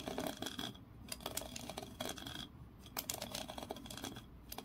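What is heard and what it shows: Long nails scratch along the ridged grooves of a small, solid wooden block held in both hands and tap at its edges. The result is a dense, bright rasping texture broken by sharp clicks and taps, with brief quieter pauses between passes.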